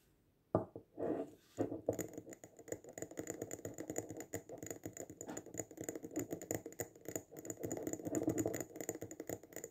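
A small glass jar filled with pink sand, with a band of dark sand and lace trim at the rim and an artificial succulent on top, is held in both hands and fast-tapped on its glass sides with short fingertips and nails. After a brief silence, a dense, rapid stream of clicky taps begins, centered in the mids with a faint bright edge. Each tap dies away almost instantly.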